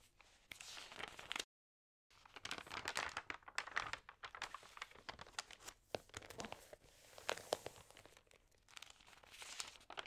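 Fingertips and long nails rub, crinkle and turn the thin pages of a large open magazine lying on a table. Soft, bright crackles and quick rustling swishes come in irregular bursts, with a brief moment of total silence near the start.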